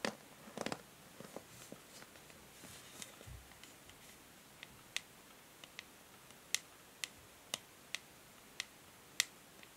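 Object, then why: Plastic paddle hair brush back. Long nails tap and scratch the hollow, grey matte plastic back of a plastic paddle hair brush that has been turned over. Soft scratching and a cluster of quick clicks early on give way to a series of sharp, bright, well-spaced taps with almost no ring. The sound is quiet and light, with very little low end.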